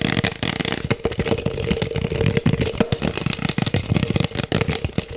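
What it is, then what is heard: Plastic cup tapped and scratched. An empty, hollow black plastic cup is held and moved around while its sides are tapped and scratched with the fingertips. Rapid, dense clicks and scratchy rustling overlap continuously, with a faint steady mid-pitched hum beneath the bursts.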